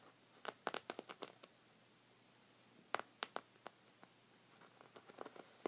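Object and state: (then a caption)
Knit rug scratched with fingernails. Short red fingernails scratch a thick, cream, textured woven rug of soft fabric, producing quiet, dry, scratchy bursts. Fourteen brief strokes come in irregular clusters separated by near silence. Each stroke is bright and papery with a midrange core and no ring or low end.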